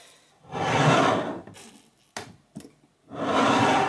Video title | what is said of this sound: [LES RECETTES DU GENERAL] Tepache 🍍 | souvent quand on secoue, on entend le pshhh, parce que vous voyez, c'est le gaz qui veut sortir